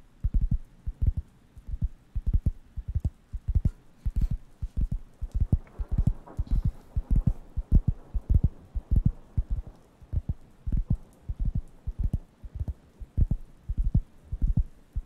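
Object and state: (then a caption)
Wooden coaster. A round, flat, thin, solid wooden (cork-like) coaster is held up near the microphones and tapped and scratched with fingertips. The result is a quick, uneven stream of dull, deep thumps with almost no ring, with faint, soft scratchy texture between them.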